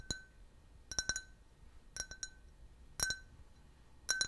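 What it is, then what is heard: Can-shaped drinking glass. A clear, hollow, empty can-shaped glass beer glass with a printed logo is held in hand and tapped and scratched with fingernails. Quick clusters of about nine bright clinks, each with a short ring around 1.5 kHz and high overtones, are heard over a quiet background.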